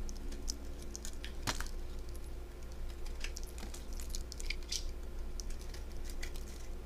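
A craft blade shaves thin slices off the surface of a solid purple-and-white striped bar of soap held in fingers with dark painted nails. Quiet, crisp, bright scraping ticks and small snaps come in an irregular stream over a steady low hum.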